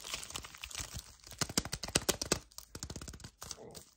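A small, flat yellow cardboard sleeve from a full milk chocolate hazelnut bar is held in both hands while long painted nails and fingertips grip, squeeze and scratch it. The result is a fast, uneven run of sharp, bright crinkles, crunches and clicks with very short decays, loudest near the middle of the clip.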